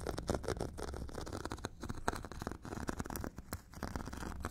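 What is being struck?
Hand-held foot file, abrasive grit on a foam core.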